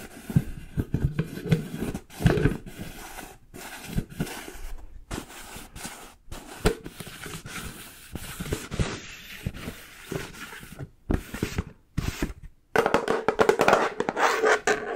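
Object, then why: Plastic jar with plastic lid. Long nails scratch and tap the bare plastic side and yellow plastic lid of a full plastic peanut butter jar. Irregular dull, low taps mix with rasping scratches, broken by short silent gaps, and the scratching grows louder and denser toward the end.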